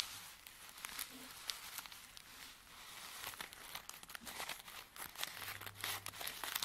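Curled fingertips and nails scratch and crinkle folded filter-paper tea sachets filled with dry tea, lying flat on a table. The result is a quiet, steady stream of bright, crisp paper crinkles and rapid scratchy ticks with almost no low end, each sound dying away almost instantly.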